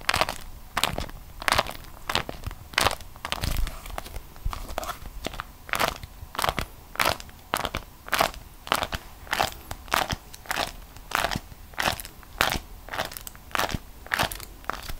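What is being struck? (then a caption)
Beeswax-coated cotton wrap. A folded, stiff beeswax-coated cotton food wrap held in both hands is bent and squeezed over and over. It makes crisp, bright crackles and crunches in quick bursts, each dying away almost at once, with quiet crinkling in between.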